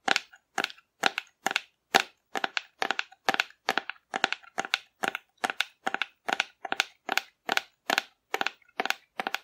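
A hollow painted cardboard dinosaur figure is held upright and tapped and scratched with long nails. The result is a steady, regular series of short, dry, crisp bursts centred in the midrange around 780 Hz, with a bright scratchy edge, no low end, and almost no ring after each burst.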